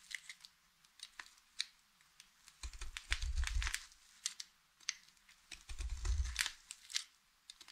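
A hand holds a solid blue Fax soap bar while a utility knife blade cuts it into a fringe of thin shavings. Sharp, dry, crunchy clicks alternate with two longer grinding bursts of cutting that add a low rumble. The brittle shavings snap off with bright crackles.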